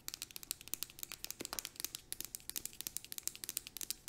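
Long acrylic nails tap and scratch rapidly on a plastic hand cream tube with a green cap. About three dozen sharp, bright, crinkly clicks come in quick succession, each short and dry with almost no low end.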